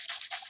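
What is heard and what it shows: A plasma reactor tube with a loose metal helix coil inside and no stopper fitted is moved, making the coil rattle against the tube in quick, bright, jingling bursts with almost no low end. The rattling is a fault: the tube needs a stopper to keep the coil from moving.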